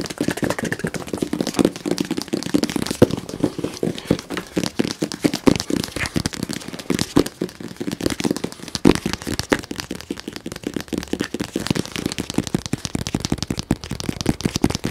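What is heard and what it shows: A medium-sized, hollow, white printed cardboard box is held near the mic and tapped very fast with fingernails. A dense, steady stream of sharp, dry clicks with a hollow, boxy low-mid body and bright ticking edges continues without a break for the full fifteen seconds.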